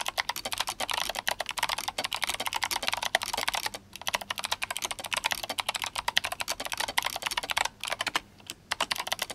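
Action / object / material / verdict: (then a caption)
tap / mechanical keyboard with plastic keycaps / plastic / none. Fingertips of both hands type fast on a GMMK Compact, an RGB-backlit mechanical keyboard with clicky Kailh Box White switches and plastic SA keycaps. The result is a dense run of sharp, bright clicks that die away almost instantly, with brief pauses near four seconds and toward the end.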